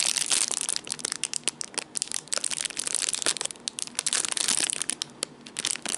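Fingertips squeeze and crinkle a small clear plastic zip bag holding coiled black cables, held in the hands. A dense, continuous run of bright, crackly plastic crinkles and sharp snapping bursts fills the clip, with almost no low end and each crackle dying away instantly.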